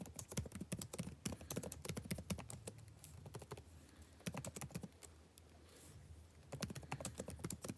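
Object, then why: Plastic laptop keyboard. Fingertips type fast on a backlit laptop keyboard with plastic chiclet keys, giving quick, light clicks and taps in dense bursts. The typing pauses briefly in the middle, leaving a faint low hum, then resumes.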